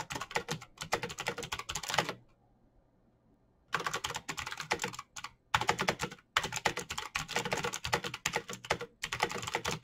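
A black plastic mechanical keyboard with clicky green switches is typed on rapidly by fingertips, producing dense bursts of sharp, bright clicks. The typing pauses briefly around two to almost four seconds, leaving a faint low hum, then resumes with quick streams of keystrokes and a few short gaps.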